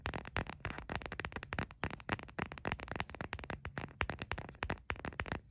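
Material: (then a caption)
Plastic. Fingernails tap rapidly on the back of a white printed hard plastic phone case, hollow with no phone inside, held in one hand. The quick, irregular taps are sharp, dry clicks with a hollow low body and almost no ring, running continuously throughout.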